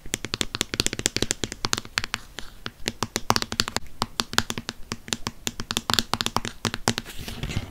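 A hollow white plastic Cien lotion bottle, held upright, is tapped rapidly with fingernails on its body and cap. The result is a dense, irregular stream of crisp, bright, hollow clicks that stop instantly without ringing, with faint scratchy rustling underneath.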